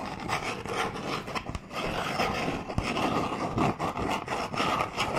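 Fingernails scratch and tap a small, long, hollow cardboard toothbrush box held close to the microphone. The result is a continuous dry, papery rasping with a hollow, boxy tone, broken by sharp, brief taps and a few quick dips between strokes.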